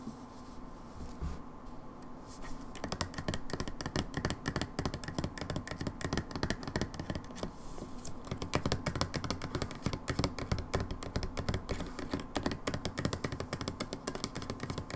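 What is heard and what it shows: Long nails tap rapidly on the paper-label side of a medium brown plastic hydrogen peroxide bottle with a white cap, probably holding liquid. The taps are quick, dry, irregular clicks over a low hollow thud, with very short decay. They continue steadily throughout, growing slightly louder and denser in the second half.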